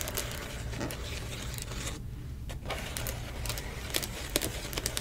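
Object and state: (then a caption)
Plastic bubble mailer. Long nails tap and scratch across the bubbled surface of a silver plastic bubble mailer standing inside an open white box. The result is a steady, crinkly rustle of quick, dry, bright taps and scrapes over a constant low rumble, with a brief quieter gap about two seconds in.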